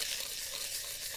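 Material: Nothing is struck.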